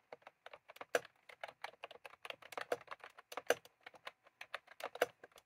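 Fingertips type steadily on a white/cream plastic retro keyboard with round keycaps, while a small clip microphone rests on the keys without being handled. About 31 quick, dry plastic clicks sound with almost no ring, centered around 500 Hz, with a few sharper, brighter key strikes standing out.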